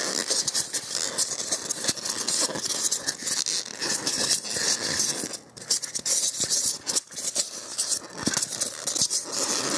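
Fingertips and fingernails rub and scratch the edge of a solid white expanded polystyrene block held close to the microphone. The result is a dense, bright, dry scratching and squeaking with almost no low end, broken by brief quiet dips near 5.5 and 7 seconds.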